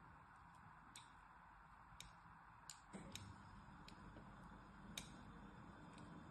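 A needle, held by long manicured nails, scratches lines along the surface of a solid pink and white striped soap bar held upright in one hand. Short, bright scratchy ticks sound at irregular intervals over a quiet, low background hum, each dying away almost at once.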